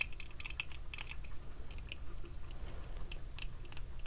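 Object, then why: Plastic sunglasses frame and lenses. Fingertips tap the frame and brown lenses of small red plastic-frame sunglasses worn on the face. The result is a quick series of light, dry, bright clicks that die away almost instantly, over a steady low rumble.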